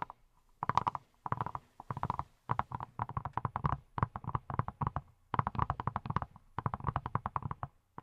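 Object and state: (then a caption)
Silicone pineapple-shaped brush. A hand-sized, yellow, silicone pineapple-shaped brush that appears hollow is tapped by fingertips wearing silicone rubber pads, with long nails also visible. Rapid bursts of soft, muffled taps come in quick runs separated by short pauses. Each tap is a dull thump with a hollow tone near 1 kHz and dies away almost at once.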